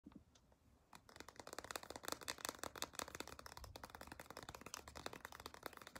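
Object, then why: Soft plastic squeeze tube. Long decorated acrylic nails tap and click rapidly on a small white-and-blue CeraVe moisturizing cream squeeze tube made of soft plastic, held in the hand. After a brief quiet start, a dense, irregular stream of sharp, dry clicks with bright, crisp tops continues to the end.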